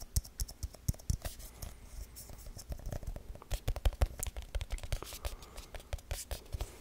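A small, round, hollow aluminum tin with a printed lid is held in the hands and quickly tapped and scratched with the fingertips. It makes a rapid, uneven stream of soft hollow taps with dull low thumps and bright, crisp clicks. Each tap dies away almost at once, with faint scratching between them.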